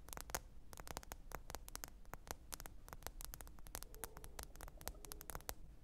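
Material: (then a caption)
Glass. Long pointed nails tap rapidly and irregularly on the glass screen of a small, thin, solid black smartphone lying flat and screen-up on faux fur. Each tap is a short, sharp, bright click that dies away almost instantly, over a quiet bed of steady low hum and static.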